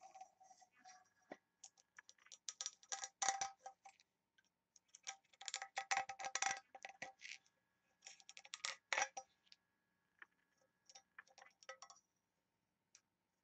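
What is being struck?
Small engraved brass box and its ring handle.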